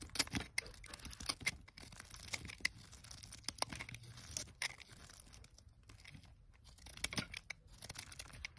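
A metal box-cutter blade carves a solid pale green square bar of olive-oil soap held in the hand, with flakes piling up below. The sound is a dense run of crisp, bright scraping and crackling cuts, like tearing and crinkling, with quick sharp peaks and almost no ring.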